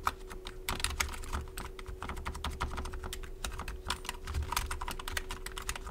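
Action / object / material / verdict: tap / plastic computer keyboard / plastic / none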